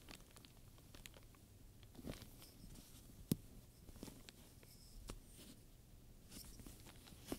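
Fingertips and long nails rub and scratch the surface of a black pebbled leather handbag covered in many domed chrome metal studs, while a wooden pointer taps between the studs. Soft, quiet scraping and brushing fill the clip, broken by many quick, dry ticks and a couple of sharper, brighter clicks.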